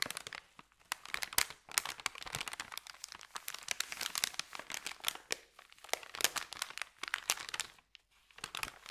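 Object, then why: Thin paper bag. Fingertips rub and press the creases of a thin, empty, flat white paper sandwich bag, making dense, crisp crinkling with many sharp snaps and crackles. The sound is bright and dry with almost no low end, coming in bursts separated by brief near-silent pauses, one longer near the end.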